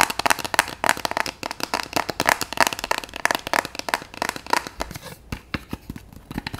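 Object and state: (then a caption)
Paper sticky note cube. A small solid block of multicolored paper sticky notes, held in the hands, has its paper edges tapped, scratched and flicked with fingertips and long nails. About thirty quick, dry, crisp clicks and papery scratches follow one another, bright with a slight tone near 950 Hz, each dying away almost instantly. The run thins out and grows quieter after about five seconds.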